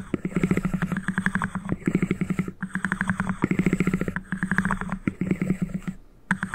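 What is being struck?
Small cardboard ring box.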